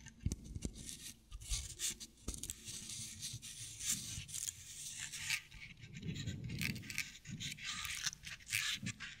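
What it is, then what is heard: Straw decorative owl figurine, scratched. Long nails scratch along a decorative owl figurine covered in bristly dry straw fibers, held above the mic. The result is a dense, dry, crackling scrape that is bright and hissy up high, with soft low rumbles and a few sharp thumps underneath. It comes in uneven bursts throughout the clip.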